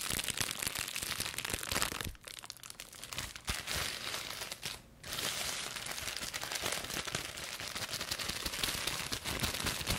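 A small sheet of clear plastic bubble wrap with hollow air bubbles, held in both hands with long pink nails, is squeezed, popped and crumpled. Dense, bright crinkling is packed with sharp pops and cracks, easing briefly around 2 and 5 seconds before resuming at full intensity.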